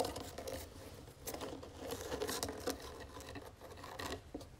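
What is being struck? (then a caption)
Small round wooden jewelry box. Long fingernails tap and scratch the sides of a small, round, hollow wooden jewelry box with gold metal trim and feet. Quick, dry clicks mix with rough scraping in a steady, uneven patter, with a slight hollow tone around 480 Hz that dies away almost at once.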